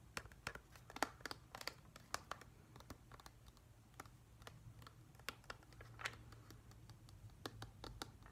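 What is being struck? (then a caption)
Small hollow plastic humidifier. A hand-sized, hollow, pale grey-white glossy plastic whale-shaped humidifier is held in one hand and tapped with fingertips and short nails. The result is a quiet, irregular stream of quick, sharp clicks and light scratchy taps, bright and dry with almost no ring, over a faint low hum.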